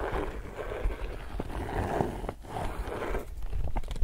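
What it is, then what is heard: Laminated woven polypropylene tote bag. An empty, glossy, laminated woven polypropylene reusable tote bag is held in both hands while fingertips and nails rub, scratch and press its laminated surface. The result is a steady, soft crinkling and scraping texture with a few sharper ticks, mostly low and muffled with little bright content.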